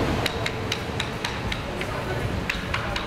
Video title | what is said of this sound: Bridge Inspection Before Bridge Collapse | they'll Hammer tap the concrete they'll find Hollow areas